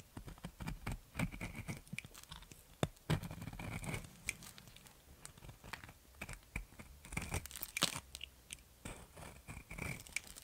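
A metal box cutter blade scrapes and shaves a solid round soap with a pink glitter coating, held in the fingers, cutting off dry, crumbly white flakes. The clip is a string of short, crisp scraping and crunching strokes, each with a low thud beneath a bright gritty rasp. The strokes come in bursts with quiet gaps between them.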